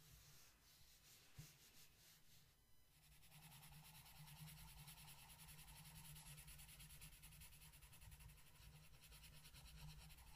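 A blue wooden colored pencil rubs across a flat paper coloring book page in continuous coloring strokes, making a soft, steady scratchy rasp with a low hum underneath. The strokes grow denser and brighter after about three seconds and carry on evenly to the end.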